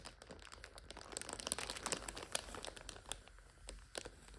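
A full plastic multipack of instant noodles stands on its end, red wrapper side up, while nails scratch and fingers crinkle the film. Dense, bright crackling and crunching comes in quick bursts that swell in the middle, with sharp, short snaps fading into softer rustling.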